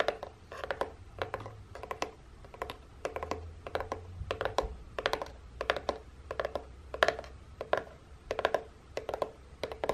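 Long painted nails quickly tap and scratch the side and end of a hollow, printed corrugated cardboard box. The result is rapid bursts of dry, clicky taps and scratches with a hollow midrange tone, each dying away almost at once, over a faint low rumble.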